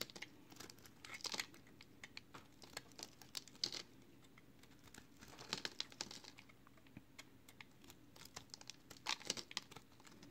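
A solid green and yellow multicolored recycled soap bar, held in one hand, has its edge and face shaved with a box cutter blade. The result is quiet, bright, crinkly scraping in many short, dry bursts, with denser flurries of shaving around the middle and near the end.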